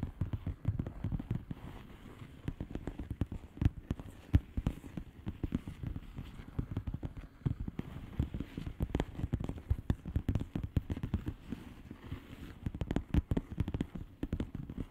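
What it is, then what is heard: Plastic bubble-wrap mailer. Long polished nails tap rapidly on the bubbles of a flat, hollow plastic bubble-wrap mailer lying on a surface. The result is a steady, dense patter of soft, dull, low taps with almost no ring or brightness, continuing evenly throughout.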